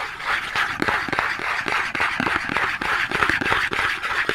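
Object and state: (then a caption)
Cardboard soap box. A small Dove cardboard soap box, held in both hands, is scratched and tapped with long nails. The result is a fast, uneven run of dry papery taps over a continuous bright scratching hiss that stays at a steady level throughout.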